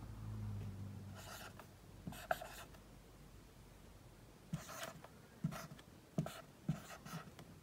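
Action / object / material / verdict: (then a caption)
scrape / dry-erase marker on a whiteboard / plastic / none. A dry-erase marker tip writes the letters I through Q on a large, flat whiteboard, rubbing and scratching across the surface in short, bright, squeaky strokes. A low hum sits under the opening second, then the strokes come as quiet scratches separated by brief pauses.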